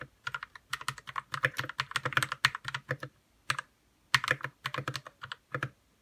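Fingertips type on a white 60% RK61 mechanical keyboard with plastic keycaps and lubed red switches. Quick bursts of short clacky keystrokes carry a low thock near 150 Hz under a brighter click around 1–2 kHz, and each stroke dies away almost instantly. The typing pauses briefly between about 3 and 4 seconds before picking up again.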